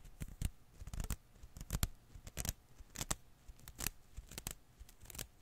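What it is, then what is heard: Rubber Koosh ball strands. A single blue and green Koosh ball made of thin rubber filaments is held in one palm while fingertips pinch, pull and release bundles of its strands. Quiet, irregular bursts of bright, crackly rubbery snaps and rustles are heard, each dying away almost instantly, with a soft low thump beneath many of them.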